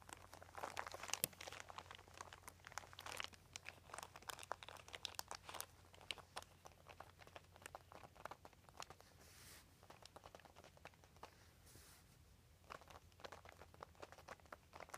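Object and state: Embossed plastic sheet crinkling.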